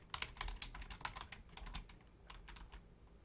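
Long painted nails and fingertips type on the low-profile keys of a full-size black plastic Logitech keyboard. The result is a quick, irregular run of short, bright clicks and clacks that stop dead, over a quiet low rumble, with a brief lull before the typing picks up again.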